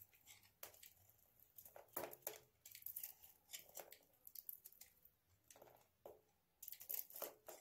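A hand-sized, dry solid bar of soap coated with red patches of nail polish is held in the hand and scraped and shaved with a utility knife blade. Quiet, crisp, crunchy scraping strokes come in irregular bursts, each with a bright, dry edge and almost no ring or low end.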